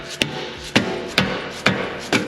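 A rubber mallet taps a metal sway bar end link down onto the strut tube of a BMW G8X M3/M4, giving five sharp, evenly spaced knocks with short bright ring, and another starting as the clip ends. The tone shifts from hollow on the last two swings, showing the end link has bottomed out and is fully seated, flush with the tube.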